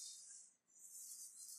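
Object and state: Nothing is struck.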